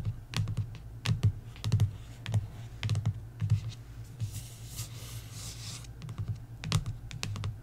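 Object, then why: Paperback book with glossy card cover. Long nails tap the glossy card front cover of a paperback coloring book lying flat on a wooden table, giving an irregular series of short, dull knocks with crisp clicky edges. Midway, the taps pause for a soft, airy brushing hiss before the tapping resumes.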